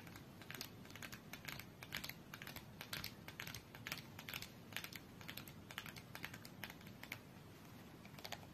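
Long nails tap quickly on the top edge of a small red printed cardboard UNO card box, standing upright and closed with cards inside on a fur rug. The result is a quiet, irregular stream of dry, bright clicks with almost no ring, over a soft low rustle.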